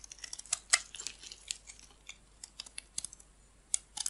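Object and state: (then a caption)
Bar of soap being shaved with a blade. A metal blade shaves and cuts green flakes off a solid, hand-sized oval bar of green soap held in the palm, with the shavings collecting around it. The sound is a quiet, uneven run of short, crisp, bright crackles and snaps with almost no low end. Each cut dies away at once.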